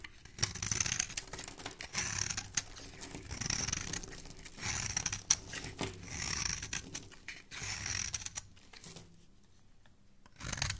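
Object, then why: Bar of soap. A black metal blade scrapes and shaves the surface of a hand-held, solid white rectangular bar of soap with an embossed logo, throwing off powdery flakes. Repeated bursts of bright, crisp scraping and rasping alternate with brief pauses, and a quieter lull near the end gives way to one last scrape.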